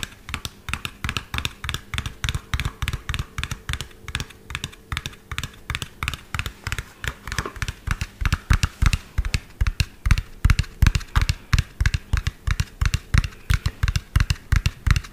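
Long fingernails tap fast and unevenly on the body and cab of a hollow lime-green and yellow plastic toy truck, about 25 cm long, held close to the mic. The steady stream of short, dry clicks has a hollow low thump and a bright tick on top, with no ring after each tap.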